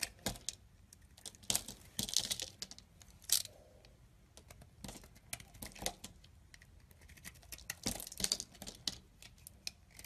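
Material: Soap.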